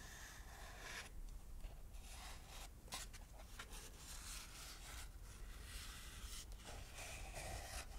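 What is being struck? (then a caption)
Dried lotus seed pod. A small, light, brown and fibrous dried lotus seed pod with hollow cells is held in the hand and rubbed and scratched with long manicured nails across its holed top and sides. The result is a steady, quiet, dry scratching and rubbing with bright, hissy texture and brief scraping bursts over a faint low rumble.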